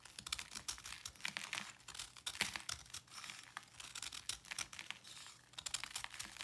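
A small knife blade cuts and scrapes into the edge of a palm-sized, round white block of pressed, slightly damp salt held in one hand, crumbling it. The result is a dense run of quick, dry, gritty crunches and scrapes, mostly high and bright with almost no low end, each dying away almost at once.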